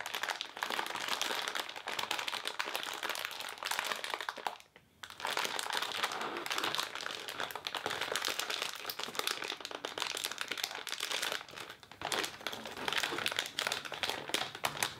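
A green crepe paper streamer roll in a clear plastic wrapper is held in both hands against a black surface while fingertips and long nails squeeze and crinkle the thin plastic film as the package is opened. The sound is a steady, dense, bright crackling and crinkling, broken by brief quiet gaps near 5 and 12 seconds.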